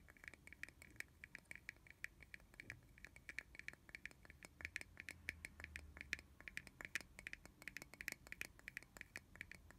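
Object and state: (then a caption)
Plastic bottle cap. A small, hollow, translucent red plastic bottle cap, removed from its bottle and held on its own, is tapped and scratched with long fingernails. The result is a rapid, steady stream of dry, sharp clicks and scratchy ticks with a bright, hollow plastic tone around 2.4 kHz and almost no ring, over a faint low rumble.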